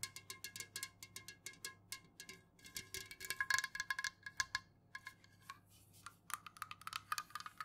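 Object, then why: Aluminum drink can. An unopened, full, tall Jumex aluminum juice can, first standing upright and then held and tilted, is tapped quickly with long nails on its sides and lid. The quick, light, clicky taps carry a short metallic ring pitched around 1 kHz with bright overtones, bunching into a denser flurry partway through before thinning out again.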